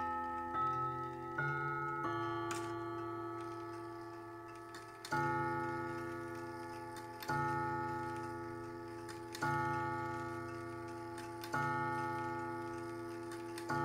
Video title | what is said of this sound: Junghans Mantel Clock Gong Rod Replacement & Tuning 4of7 | it sounds nice and mellow. It's not sort of too tinny sounding.